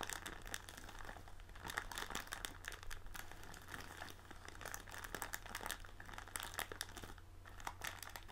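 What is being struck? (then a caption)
Plastic film bag of tealight candles. Both hands press and crinkle a large blue and white printed plastic film bag of tealight candles lying on a table, working the plastic with fingertips and nails. Dense, continuous crinkling and crackling comes through as many quick, bright snaps over a steady low hum.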